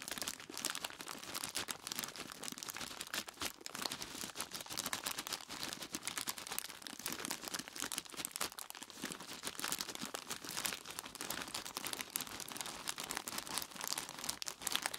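Both hands grip a large, clear plastic bag tied at the top and full of ice cubes, their fingertips squeezing and rubbing it. This produces a steady stream of bright, dense crinkling from the plastic and crunching from the ice, with very little low end. It continues without pause for the whole clip.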